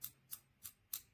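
Four light taps on the bluish-green anodized aluminum main body of a PGYTECH Beetle Clip, a camera clip for a strap or belt, confirm the body is metal. Each tap is a short, bright, high-pitched metallic tick that dies away almost at once, with quiet pauses between them.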